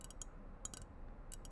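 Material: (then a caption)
Ceramic. A ceramic sloth figurine that can hold things is tapped, giving short, bright clinks in small clusters with a brief high ring after each. A low steady rumble sits underneath the quiet taps.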